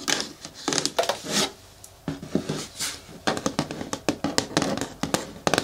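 Long nails tap rapidly on the walls of a hollow, medium-hard green plastic bin with a lid as it is turned from its side to its front. The taps are quick, dry clicks with a hollow plastic tone and bright edges, coming in uneven bursts with brief quiet gaps between them.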